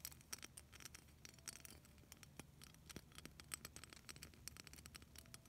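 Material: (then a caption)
Plastic. Long nails scratch rapidly over a solid, hand-sized clear plastic beaded snowflake ornament. The result is a quiet stream of sharp, dry clicks and ticks, bright in the high frequencies, over a low steady hum.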